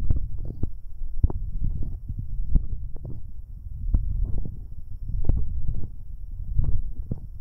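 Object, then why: Metal binaural microphone capsules. Two fingers in rubber finger cots rub directly over a pair of metal binaural microphone capsules. The result is a deep, muffled stream of rumbling, thumping friction with frequent short scrapes and soft knocks, almost all of its energy sitting very low with no bright edge.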